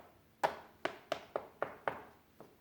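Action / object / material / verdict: tap / plaster wall / plaster / solid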